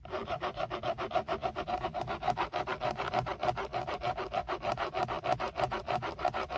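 Fingertips scratch rapidly over the textured black plastic of a hollow-backed BMW steering wheel centre airbag cover, beside the logo. Quick, steady scratching strokes come about three per second, each a dry, papery rasp with a hollow midrange tone. There is little bass and no ring between strokes.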